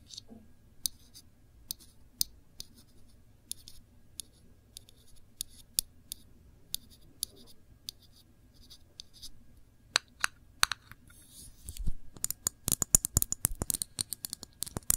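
Long nails tap and scratch a small glass jar full of cranberry jam, held sideways, moving between the glass and its label. Sparse, bright, dry clicks and soft scratches come first over a low steady hum, then build into a rapid, denser flurry of sharp taps in the last few seconds.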